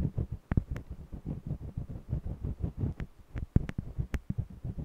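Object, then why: Wax crayon on stretched cotton canvas. A green jumbo wax crayon scratches short strokes across the textured surface of a small stretched cotton canvas on an easel. It makes a quick, steady run of about twenty soft, low, dull rasps, with a few sharper ticks where the crayon catches the weave.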